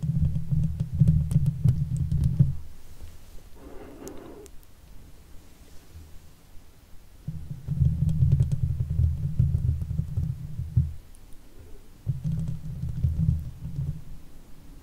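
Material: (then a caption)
Steel mesh. Long fake nails on both hands scratch the hollow woven steel mesh head of a silver Blue Yeti USB microphone. It comes across as deep, rumbling, muffled scraping in three bursts, separated by quieter stretches and a brief softer swish.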